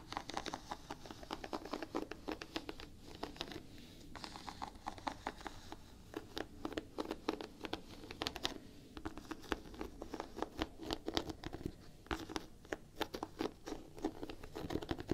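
Long painted nails scratch and tap the solid gum-brown rubber waffle-pattern outsole of a Vans Quasi Signature sneaker. The result is a quiet, dense stream of dry clicking taps and scratchy rasps centred in the low mids around 340 Hz. Each tap dies away almost instantly.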